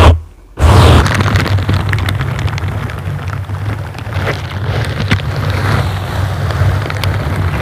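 Hands in silicone bristle gloves squeeze, scratch and rub the sides of a dark grey foam microphone windscreen. After a short thump and a brief near-silent gap, a steady, deep, boomy rumble of rubbing continues, with soft crackling scratches and scattered pops on top.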